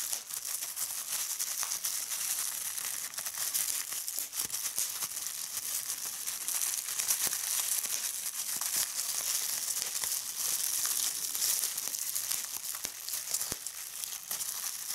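Clear plastic bubble wrap is pinched between fingers, popping its air bubbles amid steady crinkling. The sound is a dense, bright crackle of sharp little snaps, with almost no low end, running continuously throughout.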